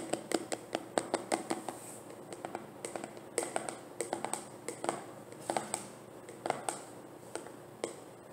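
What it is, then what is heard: Plastic jar tapped with nails. A medium translucent plastic cosmetic jar with an orange screw lid, partly filled with cream, is turned in the hands and tapped with nails and fingertips. Sharp, dry clicks and taps come in quick irregular bursts, with soft scratchy handling between them. Each tap dies away almost instantly over a faint steady hiss.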